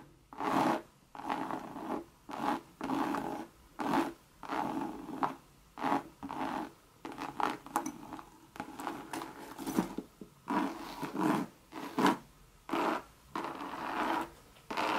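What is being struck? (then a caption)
Coated canvas handbag. Long, sharp red nails scratch the side of a medium, hollow Louis Vuitton monogram coated-canvas bucket bag with leather trim, and then the bag is tipped onto its side. The clip is a series of raspy, zipper-like scratching strokes in uneven bursts with short silent gaps between them. Each stroke has a dry mid-range texture and stops almost instantly, with no ring afterward.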